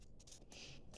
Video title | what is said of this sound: Burpee Seed Haul, #wig2022 7-week Update, and more... | you could definitely hear the difference when you shake it there's seeds in here